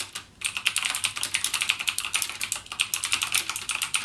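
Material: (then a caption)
Plastic. Fingertips type continuously on a backlit mechanical gaming keyboard with plastic keycaps and clicky Cherry MX Blue switches. A rapid, steady stream of sharp, bright clicks rings around 2.7 kHz, each dying out almost instantly. A brief pause comes early on before the typing resumes.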